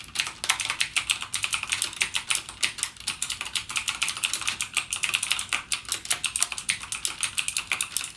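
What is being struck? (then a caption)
Plastic mechanical keyboard keys. A backlit mechanical gaming keyboard with plastic keycaps and clicky Cherry MX Blue switches is typed on continuously with fingertips. Rapid, bright, sharp clicks run steadily with almost no low end, each click dying away almost instantly.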